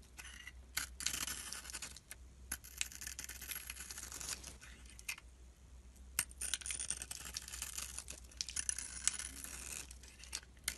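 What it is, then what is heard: Bar of soap being scraped. A metal utility blade scrapes shavings and flakes off the white interior of a solid purple-glitter bar of soap held in the hand. The sound is a quiet, bright, crisp scraping with dense crackly ticks in bursts and brief pauses between strokes.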